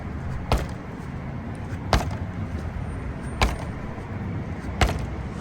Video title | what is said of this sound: DJI Amflow PL Carbon emtb review, test and measured uphill - power meter test of DJI Avinox motor | on the DJI bike you can't really hear it